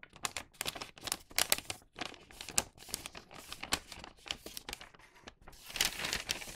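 A thin printed newspaper tube for a paper bag is held in both hands and bent, flexed and creased with the fingers. It makes a steady run of bright, dry paper crinkles that rise and fall in short bursts, with very little low end and almost no ring after each crackle.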